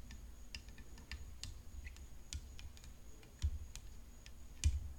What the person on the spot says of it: Fifteen solid minutes of long fingernails tapping a tennis racket!